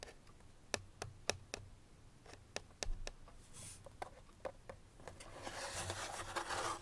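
Long nails tap rapidly on the flat face of a small, hollow white paperboard box, giving a series of dry, sharp clicks with almost no ring. Toward the end, a brighter scratchy rustle builds up beneath the taps.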